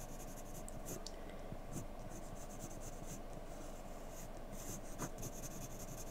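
A graphite pencil tip held in the hand makes short scratching strokes on a thin, flat paper drawing sheet resting on a desk. Quiet, steady, irregular scratches with bright, high-pitched rasps sit over a low, constant background hum throughout the clip.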